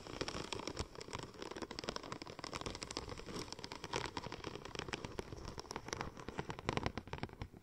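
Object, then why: Embossed vinyl wrap film. Long nails scratch and tap across the embossed tread of a curved silver checker-plate-pattern vinyl wrap sheet shaped into a hollow cylinder. The result is a dense, steady patter of quick crinkly clicks and scrapes, with bright crackling over a soft low body.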